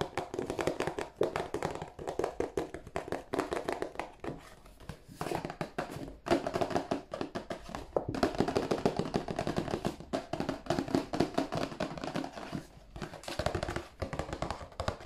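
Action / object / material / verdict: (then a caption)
tap / cardboard tissue box / cardboard / none. A hollow, glossy cardboard tissue box is tapped and scratched with fingernails on its sides and corners while it is turned in the hands. Rapid, dense bursts of short, dry, hollow taps with a mid-pitched body ring out, mixed with papery scratching. Brief pauses break the flurries between bursts.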